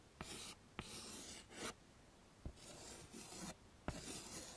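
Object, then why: Chalk on a wooden-framed chalkboard. A hand draws a face outline and hair with white chalk on a flat, dark chalkboard in a wooden frame, scraping the chalk across the surface. Sharp taps mark where strokes begin, followed by bursts of bright, rasping scratches with brief quiet gaps between them.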